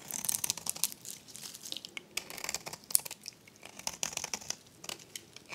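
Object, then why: Soap bar scraped with a metal blade. A metal blade scrapes a dry, varnished, solid pink rectangular soap bar held in the hand, shaving it into flakes. The result is a bright, dry, crackly crunching and tearing sound made of many short, sharp clicks with almost no low end.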